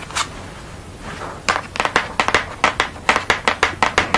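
Long fingernails scratch and then tap on a thick paper or board sheet painted with a purple-background portrait of a woman wearing glasses. A soft, hissy scrape is followed by a quickening run of about fifteen crisp, dry clicks, each bright and very short with almost no ring and little low end.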